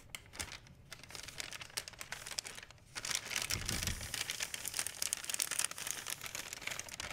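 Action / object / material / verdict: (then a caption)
scrape / thin plastic shopping bag / plastic / none. A large, thin, empty white plastic Blick art supply bag is held up, crinkled, folded and stretched with fingertips and long painted nails. Dense, bright crinkling and crackling stays quieter for the first three seconds, then grows louder and busier with sharp snaps through the end.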